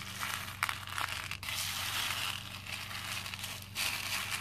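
Both hands scoop and rub small cream plastic faux pearl beads in a pink plastic bowl full of them. The beads make a dense, bright clinking and crackling rattle that runs continuously, with brief louder swells. A faint steady low hum sits underneath.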